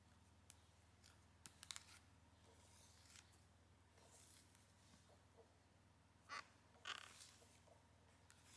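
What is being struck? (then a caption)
Printed cardboard sleeve. Long nails tap and scratch across the surface of a flat, printed cardboard eyeshadow palette sleeve with gold foil lettering. Quiet, irregular clicks and bright, papery scratching bursts stand out over a faint, steady low hum, with the loudest scrapes coming near the end.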